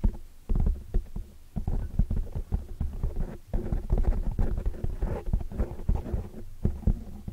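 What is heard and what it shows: Dark-painted nails and fingertips rapidly scratch and tap the sides of a large black foam windscreen on a microphone. The result is a dense, muffled stream of low thumps and rumbling scratches, with almost no high or bright content, and each tap dies away almost instantly.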